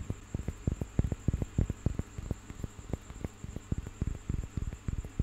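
A small, solid carved and painted wooden piece is held in one hand and tapped and scratched with fingers and nails. The result is a quick, irregular patter of dull, low, dry knocks that stop almost instantly. A faint, steady high whine runs underneath.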